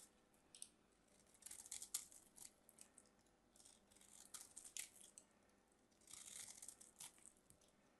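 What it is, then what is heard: Bar soap being carved. A small craft knife carves and scrapes the corners of a solid mint-green bar of soap held in the hand, knocking off crumbly chunks. The result is quiet, bright, crisp scraping and crunching, with short clusters of high crackles between near-silent pauses.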